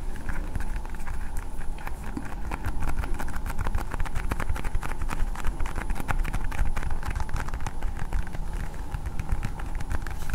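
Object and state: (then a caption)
Plastic toy ball. A hand-sized hard blue plastic toy ball with a Spider-Man sticker is tapped and scratched with long painted nails. The result is a steady, dense stream of quick, dry clicks and scrapes over a deep low rumble. Bright crackly transients run throughout.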